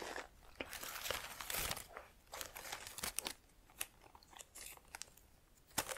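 Long nails pinch and rub the individual plastic leaves of an artificial plant in a black pot, held close. The result is a string of crisp, bright crinkling and crunching bursts with quick scratchy rustles between them, mostly high in tone with very little low end.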